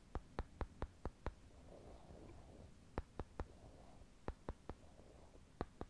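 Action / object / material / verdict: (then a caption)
tap / two small wooden cubes / wood / none. Two small, solid brown wooden cubes are held in the fingers and tapped together close to the microphone, producing 14 sharp, dry clicks with almost no ring. The clicks come in bunches: a quick run of six, then three, then three, then two. A faint soft rustle fills the gaps between them.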